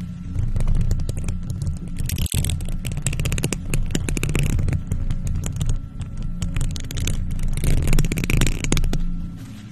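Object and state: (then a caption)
Metal mesh microphone grille scratched with nails. Long nails on faux leather gloves scratch across the hollow, silver metal mesh head of a microphone. Dense, rapid scratching and clicking rides over a heavy, boomy low rumble, with brief bright rasps and a sudden short dropout early on.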